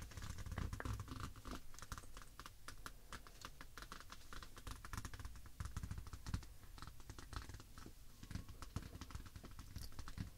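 Long acrylic nails tap and scratch across the glossy, partly foil cover of a large Pusheen 2018 paper wall calendar lying flat on a table. Many quick, dry clicks patter over a steady soft scratch, with a low thud under the taps and a faint bright edge, each tap dying away almost at once.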